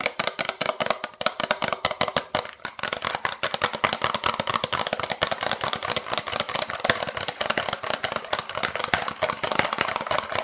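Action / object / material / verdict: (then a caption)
tap / small lump of coal / coal / none. A small piece of coal retrieved from the Titanic wreckage is tapped rapidly and continuously. The taps are quick, dry, bright clicks with almost no ring and very little low end, running steadily for the whole stretch.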